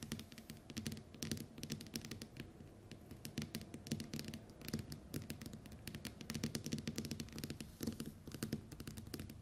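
Long white nails tap and patter rapidly with both hands on the glass screen of a small, flat smartphone lying on a wooden table. A dense stream of quick, bright clicks rides over soft, low knocks, each hit dying away almost at once.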